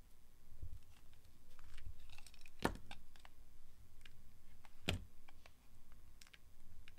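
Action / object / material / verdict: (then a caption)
scrape / glycerin soap bar / glycerin soap / none. A small, solid oval bar of translucent orange glycerin soap, held in the hand, is shaved and scraped with the blade of a yellow box cutter. Soft, steady scratching and crinkly shaving sounds run over a low rumble. Sharp, bright cutting clicks are scattered through it, with two louder snaps standing out.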